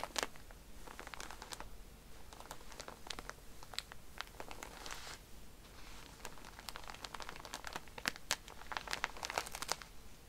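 A plastic-wrapped pack of cotton pads, stood on its side, is scratched by fingernails and squeezed by hands. The wrapper gives a steady, close crinkling and rustling, broken by many sharp, bright scratches and crunches over a faint low hum.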